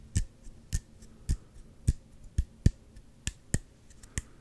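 A small, hollow, clear plastic Gatorade squeeze bottle with an orange cap, held in both hands, is tapped with the fingertips and nails. About ten short, dry taps land at uneven intervals, each a low hollow thump with a faint bright click that dies away almost instantly.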